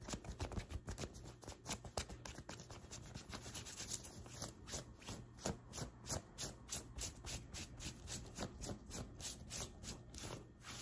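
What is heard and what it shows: Long white acrylic nails on both hands scratch and rub a light blue printed cotton t-shirt over the chest. Rapid, uneven strokes of about three per second produce a soft, bright, scratchy fabric rasp over a low, muffled rumble. There is no speech.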